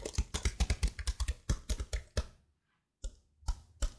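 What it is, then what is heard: Plastic laptop keyboard. Fingers with blue nails rub and scratch across the keycaps of a detached plastic laptop keyboard held beside the mic. A quick run of dull, bassy clicks and scrapes with short bright edges gives way to a half-second of silence, then a few more separate clicks.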